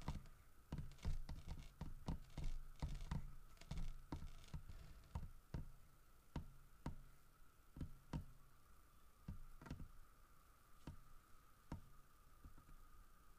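Knuckles and fingertips knock and tap on the carved flank of a large, solid carved wooden bear holding a fish. The hits are short, dull and low, coming in an uneven rhythm that is dense at first and then spaces out. A faint steady tone hums underneath throughout.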